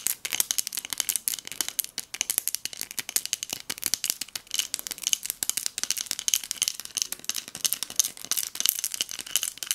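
Long nails tap and shake a small pink textured hobnail glass votive cup filled with pearl beads. The result is a fast, continuous stream of sharp, bright clicks and rattling beads with almost no ring after each tap and no low end.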